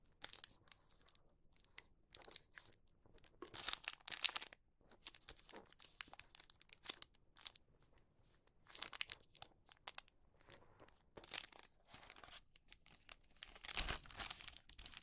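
A wax paper bag is folded and creased, then opened by hand and rubbed with the fingertips. Quiet, bright crinkling and crackling come in many short bursts, with brief pauses between them.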